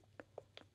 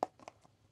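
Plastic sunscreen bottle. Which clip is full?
The first.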